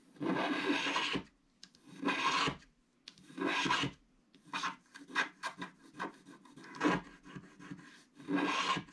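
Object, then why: Black-coated scratch art paper card with wooden stylus. A wooden stick stylus scratches across a flat, black-coated scratch art card sheet, with flakes of the coating piling up on the table. Long, dry rasping strokes with a bright, gritty edge alternate with quick, short scrapes, separated by brief silences. Each stroke stops cleanly with almost no ring.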